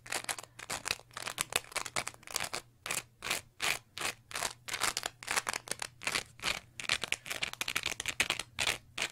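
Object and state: Cellulose sponge scratched with fingernails.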